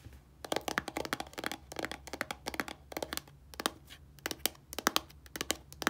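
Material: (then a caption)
Plastic. Long nails tap and scratch the surface of a small white plastic shampoo bottle lying on a table; the bottle is hollow and filled. A quiet, rapid run of bright, dry clicks and clacks is heard, with light scratching between taps and each tap dying away almost instantly.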